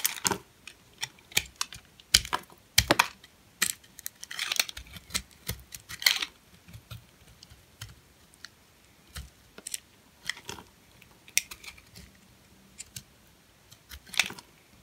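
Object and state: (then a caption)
Hard, dry bar soap being scraped. A metal blade shaves and scrapes thin curls off a purple, hand-sized, solid, very dry and hard bar of soap held in the palm. About thirty short, crisp, bright scraping crackles sound with quick decay, separated by near silence, and a few longer rasping strokes.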